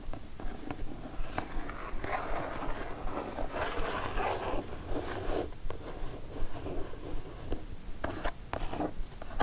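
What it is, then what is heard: Kraft cardboard mailer box. Long nail tips scratch across the printed surface of a kraft cardboard mailer box. A steady, papery scraping rasp with a low rumble underneath, broken by sharp, brief tick-like scratches.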